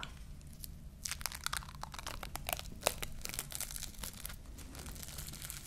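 Long fingernails scratch and peel at the surface of a long roll of clear plastic cling film held upright in one hand. Dense, bright crinkling and tearing crackles come in quick bursts, with sharper snaps standing out over a steady low hum.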